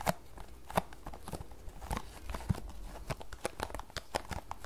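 Long nails scratch and tap across the surfaces of a small, closed green paperboard tea box held in both hands. Dry, crisp clicks and scratchy rustles come in an uneven string, each dying away almost instantly. A few louder taps stand out against the soft scraping.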